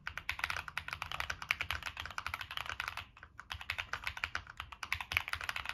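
Fingertips type continuously on a Monsgeek M1 mechanical keyboard with a black aluminum case, plastic keycaps and NK Cream switches. Rapid, bright, short clacky keystrokes run in a dense stream, with a brief pause just after three seconds before the typing resumes.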